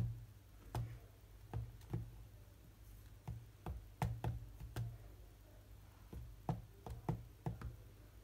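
Fingertips tap fourteen times across the glass touchscreen of a large, solid tablet lying flat, in an uneven game rhythm. Each tap is a short, dull, low knock that dies away almost instantly, with faint quiet pauses between taps.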